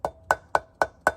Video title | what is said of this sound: How to Repack Wheel Bearings | as that sound changed I've got it seated